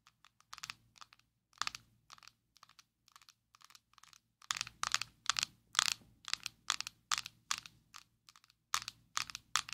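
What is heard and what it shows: A small, square, black plastic Maybelline Fit Me loose powder jar, closed, is held in both hands and tapped and scratched with long nails. The result is a steady run of crisp, bright, clicky taps with short scratchy crackles and almost no low end. The taps start soft and sparse, then grow louder and denser in the second half.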